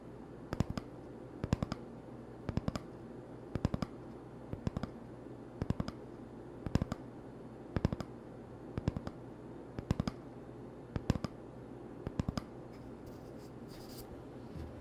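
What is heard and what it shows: An empty, hollow cardboard toilet paper tube is held in the hands and tapped and scratched with fingertips and nails. Short clusters of quick, dry, hollow clicks repeat about every second over a steady low hum, with a faint scratch near the end.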